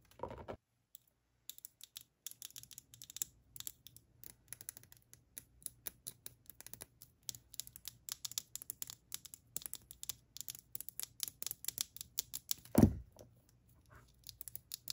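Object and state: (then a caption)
Small plastic cosmetic jar. Long dark nails tap and scratch the closed lid and sides of a small light-blue plastic e.l.f. cream jar held between the fingers. Dozens of quick, crisp, bright clicks and scrapes come in uneven bursts over a faint low hum, with a louder, heavier knock near the end.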